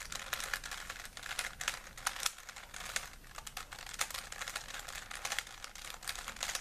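A small, solid plastic 3x3 Rubik's cube with colored stickers is held in both hands while fingertips twist its layers. The result is a steady stream of rapid, dry plastic clicks and clacks, bright and crisp with almost no low end.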